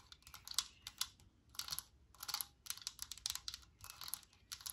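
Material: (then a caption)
Metal. A Lysol metal aerosol spray can stands on a cloth-covered surface while its cap and body are tapped with long nails. The quiet, bright, clicky taps come in quick bursts and die away almost instantly, with little low-end weight.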